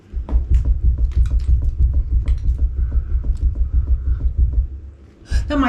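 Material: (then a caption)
Rock. Knocking on a section of rock and plaster cave wall during a cave house renovation produces about 13 quick, evenly paced deep, hollow thuds with a throbbing low boom, followed by a brief brighter rustle at the end. The wall section moves as it is knocked and is judged loose and unstable, liable to come down, after other walls in the renovation had already collapsed.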